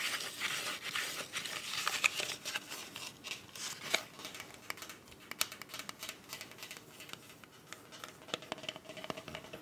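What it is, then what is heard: Soft plastic glasses case. A closed, small black hollow glasses case with a soft plastic covering is held flat and then upright while long white acrylic nails tap and scratch across its faces. The result is a quiet, bright, dry stream of irregular clicks and scratchy rustles with almost no low end. Each tap dies away instantly.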